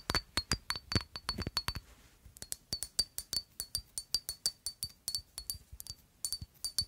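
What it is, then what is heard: Glass perfume bottle. A rectangular black glass perfume bottle with a square cap is held in one hand and tapped with long acrylic nails, giving about 33 quick, sharp glass clinks. Each tap carries a short, high ringing tone, with a brief pause near the two-second mark before the steady tapping resumes.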